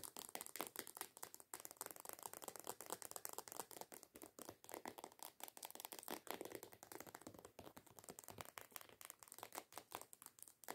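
Long acrylic nails rapidly tap and scratch on a medium-size white plastic body lotion squeeze bottle printed with coconuts. The result is a steady stream of fast, dry clicks and scratchy rattling that is bright and mid-range with almost no low end, each tap cutting off instantly.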